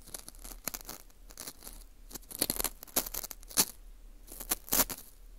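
Metal tweezers pick and scrape inside the hole of a dry, porous dried wheat gluten ring (fu) held in a gloved hand. The result is irregular, crisp, bright crunching and scratching with quick, dry clicks and no ring.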